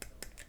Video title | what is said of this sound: My very first gaslands car....And it's a scout car | It sounds like it's plastic